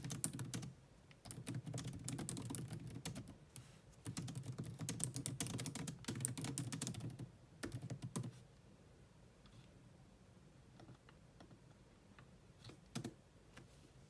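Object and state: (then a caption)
Plastic laptop keyboard. Long manicured nails on both hands type fast on a grey laptop keyboard with low-profile plastic keys, with no mouse nearby. Dense bursts of quick, clacky taps with a low body and bright clicking edges start and stop several times over the first eight seconds. Scattered, quieter single taps follow, with one sharper tap near the end.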